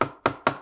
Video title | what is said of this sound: ThinkPad P14s Gen 2 AMD Review (= T14 Gen 2 AMD Review, Basically) | it feels a little bit hollow if you tap it